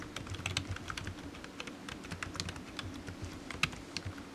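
Fingertips type on a low-profile black plastic computer keyboard resting on a desk mat, its hollow keys giving quick, bright clicks and taps with almost no ring. Keystrokes come in an uneven, continuous stream over a faint low hum, with one sharper, louder tap near the end.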